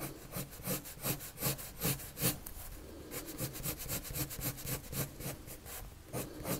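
A blue colored pencil draws quick strokes across a white paper sheet resting on a table. Each stroke makes a dry, bright scratching rasp with a soft low body, and the strokes repeat in a loose, uneven back-and-forth rhythm. The rubbing continues steadily for the whole clip.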